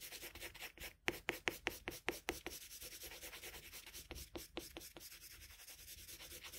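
A red colored pencil in a metal extender, held in the fingertips, rubs repeatedly in shading strokes over a figure drawn on flat white drawing paper. The quiet, bright, dry scratching has a steady papery hiss, with two runs of sharper, louder strokes near the start and again past the midpoint. Each stroke stops dead with no ring.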